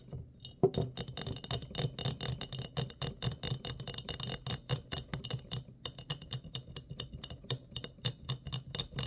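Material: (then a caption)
Glass. A medium, clear, embossed glass mason jar with a metal screw lid, hollow and empty, is held upright and tapped on its sides with fingertips and short nails. The result is a rapid, steady stream of quiet, crisp clicks and clinks with bright, glassy highs over a soft, hollow low thump, each tap dying away almost instantly.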